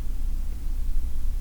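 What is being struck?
Nothing is struck.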